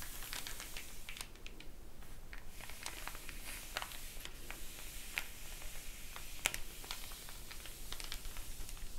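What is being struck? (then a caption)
Glossy paper flyer. An open glossy paper store flyer lies flat on a table as a page is flipped, then long nails tap and scratch across the paper with both hands. Quiet, dry, bright ticks and crinkly scratches scatter over a low, steady background hum, each tap dying away almost instantly.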